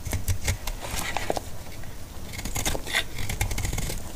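A utility knife blade cuts thin flakes from the surface of a solid, dry, pale green antibacterial soap bar. The clip is a run of crisp, scratchy scraping and crackling strokes with bright edges over a steady low rumble.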